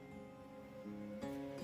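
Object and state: Nothing is struck.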